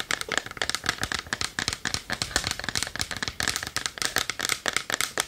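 Long nails rapidly tap and scratch the front of a small hollow varnished wooden chest held in both hands. The result is a quick, uneven run of dry, bright clicks with short scraping strokes, each decaying almost instantly, with little low end and a hollow knock near 1.7 kHz.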